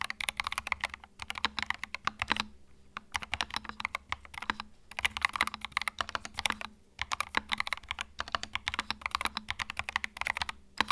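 Fingertips type continuously on a compact white mechanical keyboard with plastic keycaps. The result is a rapid stream of short, bright clicks and clacks, with brief pauses near the three- and seven-second marks.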